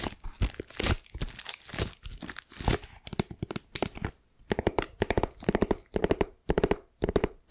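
Long nails scratch and pull at the clear plastic shrink wrap on a flat, shaped cardboard gift box. The result is a dense run of crinkly, tearing scratches that breaks after about three seconds into separate short rasping bursts with brief pauses. Each burst is dry and close, with little ring.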